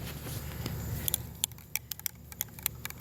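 A metal aerosol spray paint can is shaken before painting, and the loose mixing ball inside rattles as it mixes the paint with the primer and pigment. After a low rumbling first second, a quick, uneven series of sharp, bright clicks and ticks is heard. The rattle is normal for the can.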